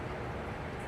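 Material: Nothing is struck.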